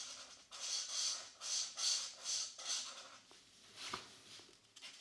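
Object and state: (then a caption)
Marker scratching on a paper page. A plastic felt-tip marker rubs and scratches across a mandala page of an open paperback coloring book lying flat, with the other hand resting on the opposite page. Repeated bright, hissy coloring strokes come in rhythmic bursts, then fade into softer, scattered scratches and light taps near the end.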